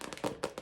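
Fingers tap on a recently bought plastic purse: four quick, hollow clicks with a midrange knock around 500 Hz. Each tap dies away almost at once, leaving a dry, crisp plastic sound.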